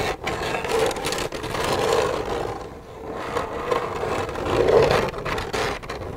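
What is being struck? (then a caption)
Plastic milk jug. Long red nails rapidly scratch and tap the side of an empty, hollow white plastic milk jug. A continuous dry, rasping scrape carries a hollow midrange resonance, with soft taps mixed in. It swells and fades in waves, thins briefly near the middle, then builds to its loudest point before easing off.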